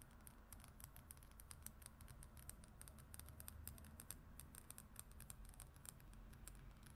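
Long acrylic nails on both hands scratch and tap the glossy printed paper cover of a travel brochure or magazine lying flat on a wooden surface. Rapid, bright clicking taps and papery scratching run continuously over a low, steady hum, each tap short and dry with almost no ring.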